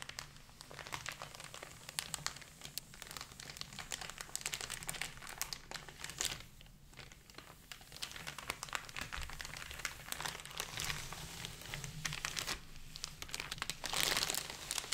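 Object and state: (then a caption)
Shrink-wrapped cardboard phone box. A small white cardboard Google Pixel 3a box, still sealed in loose clear plastic shrink wrap with its contents inside the hollow box, is rubbed, pressed and scratched by white cotton-gloved fingertips. The result is a continuous, dense, bright crinkling and crackling of the film over a faint steady low hum. A sharper, louder burst of crinkling comes near the end.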